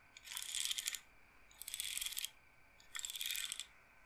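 Long nails scratch and roll the rows of wooden beads on a wooden bead roller massager. Three separate bursts of dense, bright clicking and rattling are heard, with quiet pauses between them. The sound is mostly high-pitched, with almost no low end.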